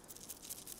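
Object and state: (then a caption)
Yellow rattle seed pods with loose ripe seeds. A picked yellow rattle plant is shaken in a meadow, and the ripe, loose seeds rattle inside its dry seed cases. The sound is a quiet, brief, dry rattling hiss concentrated in the high frequencies, with little low-end body.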